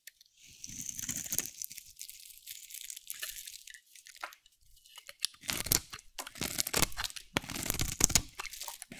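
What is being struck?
Bar of soap shaved with a metal blade.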